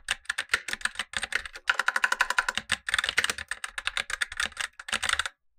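Gloved fingertips type continuously on a black tenkeyless Razer BlackWidow Lite mechanical keyboard with tactile switches and plastic keycaps, while a lower keyboard sits idle. Rapid, dense bursts of short, crisp plastic clacks pile up in quick runs with brief pauses, their bright, snappy tone dying away almost instantly with little low-end thump.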